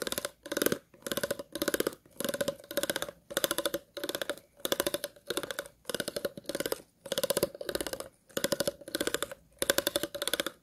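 The tips of scissors scratch across the ridges of an empty, hollow, clear plastic water bottle. Repeated short bursts of rapid, dry ticking clicks, separated by brief pauses, carry a hollow resonance near 550 Hz along with bright upper edges.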